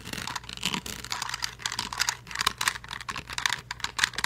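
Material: Plastic.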